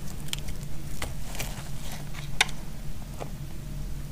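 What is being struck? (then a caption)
Soap bar shaved with a metal blade. A solid green bar of soap is shaved with a metal blade, producing sparse, sharp, crisp scraping clicks. The bright transients sit over a steady low hum, with one louder snap near the middle.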